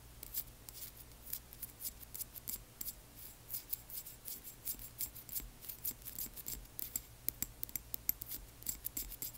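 A small frosted amber glass dropper bottle with liquid is tilted in the hands while long nails tap and click on the glass. About thirty quick, bright clicks come at an uneven pace over a faint, steady low hum, each dying away almost instantly.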